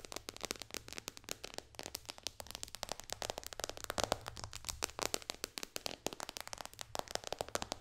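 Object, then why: Glass tablet touchscreen. Long dark nails tap quickly on the glass touchscreen of a white iPad lying flat on a pillow. Dozens of sharp, bright, dry clicks come in rapid, uneven bursts with no ring, over a faint low hum.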